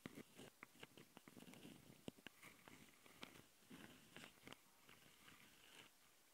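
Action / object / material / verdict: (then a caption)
scrape / plastic handheld audio recorder / plastic / none. Long fingernails of both hands scratch the mic capsule housings of a handheld plastic Tascam audio recorder. The result is a quiet, close-up scratching with a soft, low rasp, broken by sharp, bright clicks and ticks that stop instantly with no ring.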